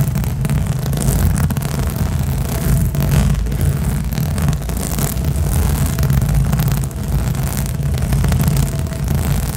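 Long nails on both hands scratch fast and aggressively across a large turquoise inflated rubber/PVC balance cushion, a hollow, air-filled disc covered in nubby spikes. The sound is a dense, continuous rumbling scrape, heavy in the low end with little high content, holding a steady level throughout with only brief dips.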